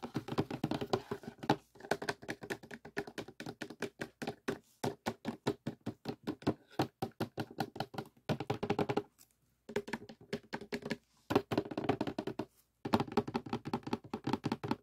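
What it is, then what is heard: Cardboard jigsaw puzzle box lid, hollow. Fingertips tap rapidly on the printed lid of a closed, hollow cardboard jigsaw puzzle box that sits on a table with pieces inside. The soft, dull, hollow taps come in quick bursts with brief pauses, each dying away almost instantly with a low-mid tone around 230 Hz.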